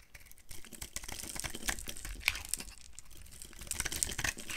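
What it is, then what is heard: Dry bar soap. A palm-sized, solid pink oblong bar of dry soap is held in the hand and carved with a utility knife into brittle flakes. The sound is a dense run of dry, crisp scraping and crackling with bright, sharp snaps as the flakes break away.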